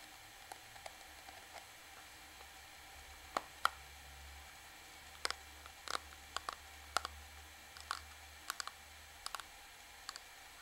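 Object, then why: Plastic makeup powder compact. Long fingernails tap a small, flat, black plastic Revlon powder compact with a hollow case, striking its front, edges and side. About nineteen sharp, dry clicks with bright, crisp tops ring out unevenly over a quiet, steady low hum, each dying away almost instantly.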